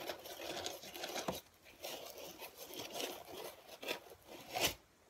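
A large, flat, light and soft dark grey-black speckled foam packaging insert with cut-out slots is held in both hands while fingertips squeeze and scratch its surface. Dry, bright scratching and crinkly rustling continue throughout, broken by a few sharper crunchy accents, with very little low end. The sound stops abruptly near the end, leaving near silence.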